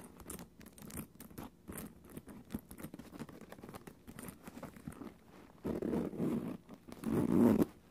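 Long orange acrylic nails tap and scratch over a small black quilted faux leather (vinyl) mini backpack with a zipper and a cat-face front panel, hollow and soft-bodied, resting on the floor. Quick, irregular, dull little taps and scratchy scrapes sit in the low-mid range with almost no ring. Two louder, fuller rubbing bursts come near the end.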